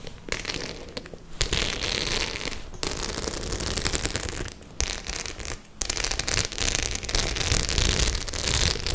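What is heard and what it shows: Long nails scratch and tap the studs of a white studded faux-leather clutch bag. The sound is a dense, bright crackling of scrapes and clicks with a steady low rumble beneath, pausing briefly a few times before resuming.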